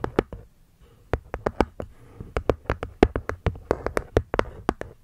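Long nails tap quickly on the cork top and wooden edge of a small hollow hexagonal wooden box, making about 22 short, dry clicks with a hollow knock around 400 Hz. Each tap dies out almost at once, with a brief pause early on before the tapping resumes in a steady, uneven flurry.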